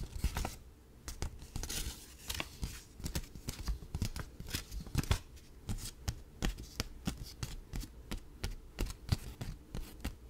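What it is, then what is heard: Paper banknote. A single thin paper dollar bill is held up in both hands close to the microphone while fingertips rub, flick and crinkle it. The result is a steady run of quick, dry snaps and crackles with bright papery edges and a soft low thump under each flick. Each sound is very short and stops dead, with faint rustling in between.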